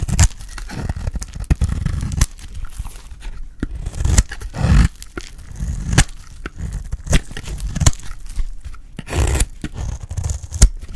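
A solid pale green bar of dry soap, held in the hand, has its edge shaved with a metal utility blade. Repeated scraping, cutting strokes sound dull and low-heavy, broken by short crisp clicks and brief bright snaps as the blade catches and slices through the soap.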